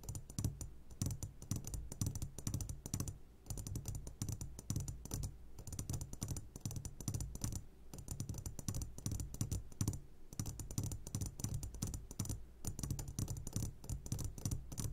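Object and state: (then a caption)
Glass candy jar. A medium glass jar, turned upside down and full of sugared gummy candies, is tapped on its sides with the short fingertips of both hands. The result is a fast, continuous patter of soft, dull taps with a heavy low thump and light bright clicks, pausing only briefly now and then.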